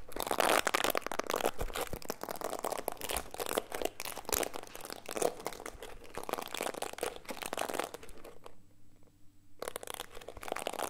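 Fingertips scratch and rub the plastic bristles of a small black plastic detangling hairbrush held in the hands close to the mic. The result is a dense, continuous run of crisp crackling and crunchy scratches, bright and broadband, with a brief quieter dip near the end before the scratching picks back up.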